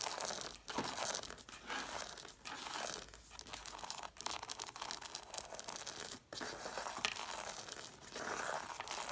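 Long nails rapidly tap and scratch along the page edges of a stack of red cloth-bound hardcover books with solid paper. The result is a dense, bright, crackling scrape with almost no low end, broken by a few brief pauses.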